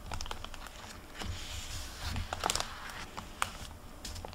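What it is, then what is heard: Paper hardcover library book. Fingertips and long nails flip and brush the paper pages of an open hardcover library book on a table, back and forth. Soft, papery rustles and crinkles run throughout, broken by brief, bright ticks and a sharper snap near the middle and another later, over a low, dull rumble.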